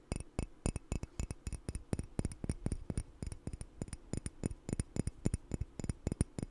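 A hollow, apparently empty red speckled ceramic coffee mug with a logo is held in one hand beside the mic while the fingertips and nails of the other hand tap and scratch it. Dozens of quick, unevenly spaced taps land as dull low thuds topped with short, bright clicks that die away almost instantly, with faint scratching between them.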